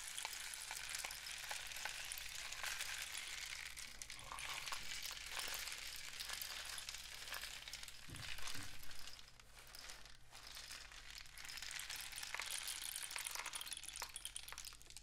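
A painted cardboard rain stick with a woven end is tilted upright while fingertips tap the tube and the filling trickles inside. A steady, bright, sizzling patter runs throughout over a low, constant hum, swelling briefly louder partway through before settling back to a softer, continuous trickle.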